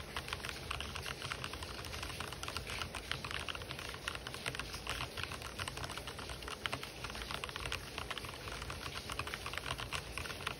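Fingertips type fast on an RGB-backlit mechanical keyboard with white and black plastic keycaps, producing a dense, steady stream of short, bright clicks and clacks with no ring. Faint white noise hisses in the background throughout.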